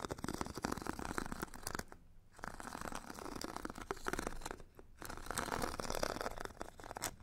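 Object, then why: Foam foot file with abrasive grit layer. A metal stick scratches the purple abrasive grit layer of a solid, hand-held foam foot file with a white foam core. Dense, rapid rasping strokes run steadily, breaking off in two brief pauses near 2 and 4.8 seconds before resuming.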